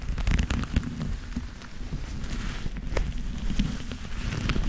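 Black leather gloved hands rub and squeeze together over the microphone, producing a dense, low, muffled rumble with soft creaks and scattered crackly bursts. The friction noise is continuous and heavy in the low end, with only faint bright detail.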